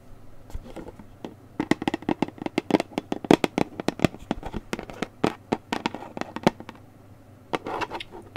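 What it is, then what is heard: Paperboard juice carton. A handheld Newman's Own orange mango juice carton, a gable-top paperboard carton of about 1 quart with a plastic cap, is tapped and scratched on its sides with long painted nails. Quick, dry clicking taps come in irregular bursts, mixed with soft scratchy rasps and a hollow, papery body. The taps pause briefly near the start and again shortly before the end.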